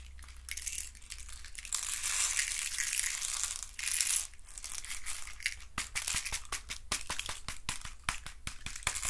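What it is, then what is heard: Wooden stick box being scratched. Fingertips and nails scratch and rub the thin walls of a hand-sized hollow hexagonal box made of wooden sticks. A bright, dry, crackling rasp runs almost continuously for the first few seconds, then breaks into quick, sharp scratchy strokes, over a faint steady low hum.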